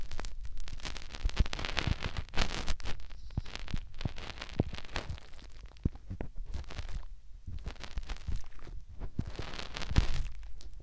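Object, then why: Silicone ear on a plastic binaural microphone. Fingertips rub and scratch around a white silicone ear mounted on a white plastic binaural microphone housing. Close, crackly scratching and rustling comes with a deep, muffled rumble and many sharp clicks and pops throughout.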